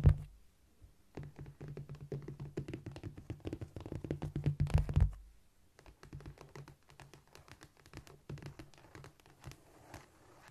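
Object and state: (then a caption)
Cork floor. Long nails tap and scratch across a flat, solid cork floor with both hands. Rapid, dull, low thumps mix with short scratchy rustles, busier and louder for the first five seconds before easing into lighter, sparser tapping. Each tap dies away almost at once.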